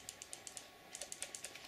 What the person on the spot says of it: if I shake it you hear that noise that's the safety bar